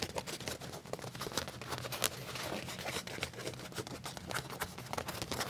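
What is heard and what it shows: Fingernails scratch and tap on a black leather trouser leg with a pocket, making a quiet stream of short, dry, bright scrapes and ticks. Each sound dies away almost instantly, with a soft low rumble underneath.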